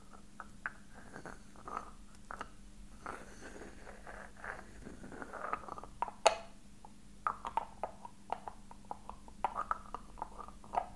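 Fingertips tap a small, hollow, silver-coloured metal box with raised floral filigree, held in one hand. Its contents are not visible. The result is a quiet, irregular series of short, dry taps with a faint metallic ring in the midrange, the loudest landing about midway through, over a low steady hum.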